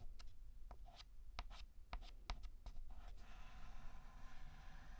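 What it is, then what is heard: Chalk writing on a blackboard. A hand draws straight lines with a stick of white chalk across a large, flat, black painted blackboard. Short, bright, scratchy strokes start and stop over a quiet low hum, and one stroke gives a brief high squeal. A softer, steady scraping runs through the last couple of seconds.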